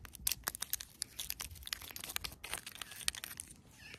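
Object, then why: Weathered stone rock. Long pointed nails tap and scratch a medium-sized, solid, weathered rock with an orange-stained surface lying in the grass. Quick, bright, dry clicks and gritty scrapes follow each other closely, each one ending almost instantly with no ring.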